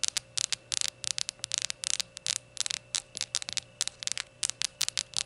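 Long gold nails tap rapidly around a small, hollow, glazed ceramic rainbow shot glass standing upright on a towel. The taps are bright, dry clicks in quick, uneven clusters, each ending almost instantly with no ring. A faint, steady low hum sits underneath.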